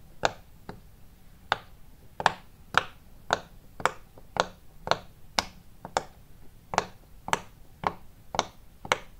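Fingertips press and pop the hollow domed bubbles of a round, multicolour silicone pop-it fidget toy larger than a hand. About 15 short, dry, crisp pops ring out at uneven intervals of roughly one per second, each snapping from a mid-range body around 900 Hz up to a bright click and dying away almost instantly.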